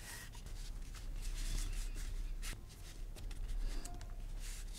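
A metal awl tip is scratched along a line across a flat, thin panel of natural vegetable-tanned leather resting on a cutting mat. It makes quiet, uneven dry scraping and rasping strokes over a steady low background rumble.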